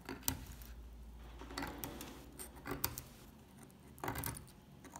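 A solid, dry, old beige soap bar held in the hand is picked at with a metal pick tip and with fingers bearing long dark nails. The result is a string of irregular, crisp scratching and crunching clicks with bright, brittle tops and a light low thud under the louder picks.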